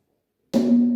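A porous cave rock formation, the Somkubasko rock, formed by slow-flowing water with a porous inner structure, is struck once and gives a single sharp hollow, drum-like knock. A low tone around 240 Hz rings on steadily to the end of the clip. This hollow sound was once used by the Swazi people as an alarm.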